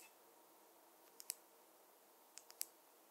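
A wooden or bamboo fine-tooth comb is tapped, giving five short, bright clicks. They come as a pair and then a quick group of three, separated by a quiet pause. Each click dies away almost instantly over a faint background hiss.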